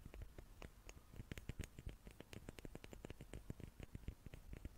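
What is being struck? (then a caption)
Small wooden cubes. Fingers tap on small wooden cubes in a rapid, uneven string of soft, dry taps. Each tap is quiet and mostly low, thuddy body with a brief bright click, and dies away almost instantly.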